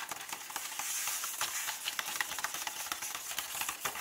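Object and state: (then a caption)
Paper book pages. Flat hands and fingertips rub and lightly tap the paper pages of an open hardcover book lying on the same chapter-opening spread. A soft, bright, hissy papery rustle runs throughout with no low end, broken by irregular quick light taps.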